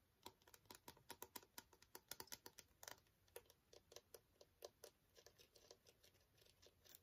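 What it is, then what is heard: Plastic squeeze tube of skincare gel. Long fingernails tap and scratch a small, partly full green plastic cosmetic squeeze tube of skincare gel, held upright and then sideways. The result is a quiet, rapid, irregular series of crisp, bright clicks and light scratches with almost no ring and very little low end.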